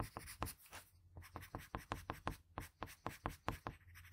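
A patterned blue wooden graphite pencil makes short, scratchy strokes on a sheet of drawing paper, working along the hair and eye of a drawing. The strokes come as a quick, uneven run of soft, dry rasps over a faint low hum, and the overall level is quiet and close.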